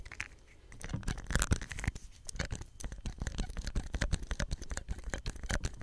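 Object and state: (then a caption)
Plastic soap pump. A small hollow green plastic soap dispenser pump head with a ridged cap and white tube is held close and scratched and tapped with fingertips and nails. Dense, rapid, dry clicks and scratchy taps come in quick, irregular bursts, with a low, thumpy body and bright ticking edges. Each sound stops almost instantly with no ring.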